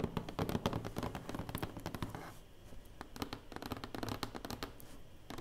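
Quick, irregular nail taps on a flat cardboard box: short dry clicks over a soft low hollow thud.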